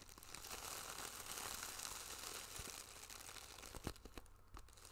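A small, flat, iridescent holographic plastic pouch with a zipper is held in one hand near the mic while fingertips and long nails tap and scratch it. The result is a steady, bright crinkling and scratching with scattered sharp taps, including a louder tap near the four-second mark.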